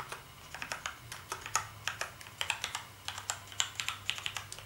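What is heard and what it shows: Fingertips type on a black plastic gaming keyboard with backlit keys, producing about 27 quick, separate keystrokes. Each is a bright, short clack that dies away almost at once over a faint low hum. The typing has an uneven rhythm of light and harder taps.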